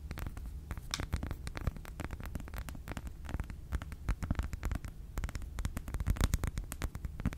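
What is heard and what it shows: An unwrapped solid milk chocolate bar with a segmented grid is held in one hand and tapped and scratched with long pink nails. A steady stream of soft, dull taps and quick scratchy clicks runs throughout, mostly low and thuddy, each dying away almost instantly.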